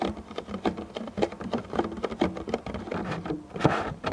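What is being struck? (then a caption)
Thin clear plastic clamshell container. Fingertips with short painted nails tap and pat across a medium, clear, thin plastic clamshell food container that lies hollow and empty on its side. The result is a quick, uneven patter of soft, hollow plastic taps, each with a low-mid body and a brief, dull ring.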